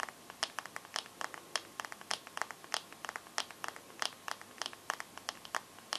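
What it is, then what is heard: Glass smartphone screen. Fingernails tap and scratch the black glass screen of a bare smartphone held up in the air. The result is a quick, irregular run of sharp, bright clicks and ticks, each dying away almost instantly, over a faint steady hiss with no low end.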